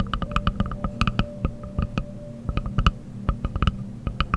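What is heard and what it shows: A wooden object is tapped in a quick, uneven series of short, dry knocks. Each tap has a dull low thump with a brief click on top, and the knocks die away almost instantly.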